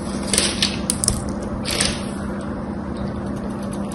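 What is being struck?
Coated bar of soap.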